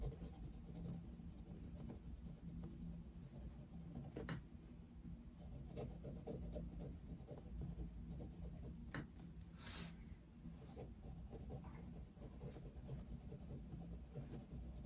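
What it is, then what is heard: Coloured pencil scratching a paper colouring book page. A coloured pencil tip, held in the fingers, scratches across the thin paper page of an open colouring book lying flat on a desk in steady back-and-forth colouring strokes. The quiet, soft scratchy rasping sits over a constant low hum, with a few brief brighter ticks and swishes standing out.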